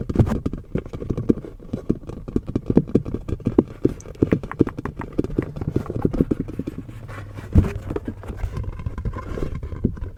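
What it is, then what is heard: Tapped silicone mask. A skin-colored silicone Halloween mask is tapped in a rapid, uneven stream of soft, dull taps. The taps are low and muffled, each dying away almost instantly, with an occasional louder thump.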